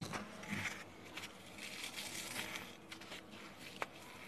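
A small, roughly 3 cm cube of soft, porous, dry green phenolic floral foam is held between fingertips with dark painted nails, squeezed, crushed, and rubbed until its surface crumbles. The result is a quiet, bright, dense crackle of fine crunching and crinkling throughout, with a sharp snap near the end.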